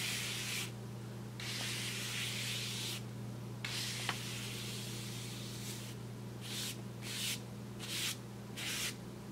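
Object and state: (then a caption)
Paper bag brushed with a paintbrush. A wide paintbrush sweeps across the surface of a large, flat brown kraft paper bag lying on a table. It makes soft, bright, hissing swishes: a few long strokes at first, then a run of shorter, quicker ones, with a steady low hum underneath.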